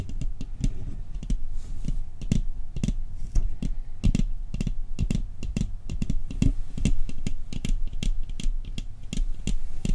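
Fingertips tap quickly on the lid and rim of a round, hollow, decorated metal cookie tin with a Christmas scene on the lid, held in both hands. The taps come as a rapid, uneven stream of short, dull knocks with a deep low thump and very little ring, each dying away almost at once.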